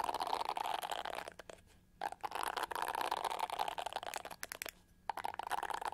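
Long gold-painted nails tap and scratch the pyramid-studded back of a hand-sized, hollow-shelled, pink-to-gold metallic plastic hair brush held in one hand. The result is a dense, crackly scratching with a hollow plastic tone centered near 920 Hz and sharp little taps. It pauses briefly twice before resuming.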